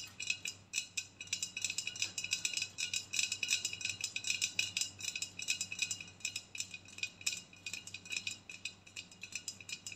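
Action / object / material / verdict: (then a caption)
scrape / aluminium aerosol spray can / aluminium / none. An aluminium aerosol body spray can, hollow and held sideways with its ribbed, embossed section facing out, is scratched and tapped with long nails. A rapid, steady run of bright, crisp metallic ticks and scrapes with a brief tinny ring centred around 2.5 kHz, with almost no low end.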